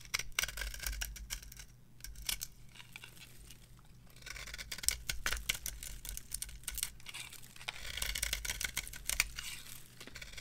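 A metal blade carves shavings from the face of a varnished, purple-edged dry bar of soap resting on a palm. Dense, crisp scraping and crackling strokes come in bright bursts, loudest around the middle and near the end, over a faint steady low hum.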